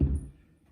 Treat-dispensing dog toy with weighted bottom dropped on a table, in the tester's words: so you can hear it's heavy